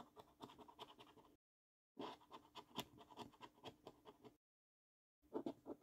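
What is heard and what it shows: A coin edge scratches the silver coating off a thin, flat paper £15 National Lottery "5x £300,000 Luxury Lines" scratch card, held down by one hand on a dark table. Quiet, dry rasping strokes come in short, rapid bursts, separated by two silent gaps.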